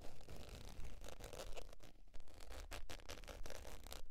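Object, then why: Faux leather zip wallet. Long, pointed dark nails scratch the surface of a flat, beige, textured faux leather zip wallet lying on white fur. Repeated, uneven rasping strokes come in quick bursts, each one a short, dry scratch. A low, dull rumble sits under a thin, brushy hiss.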